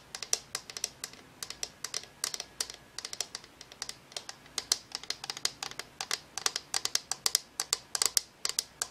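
Long nails tap rapidly on the plastic shade of a hollow, cylindrical, translucent Homecube color-changing LED lamp, glowing blue, purple, then pink, held in both hands. The result is a fast, irregular stream of dry, bright, clicky taps that stop instantly with no ring, sounding much like typing on a keyboard.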